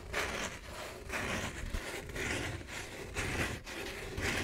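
Long nails scratch across the hollow lid of a red cardboard Vans shoe box. Dry, raspy scraping strokes repeat roughly once a second, each a bright, hissy rustle over a soft low rumble.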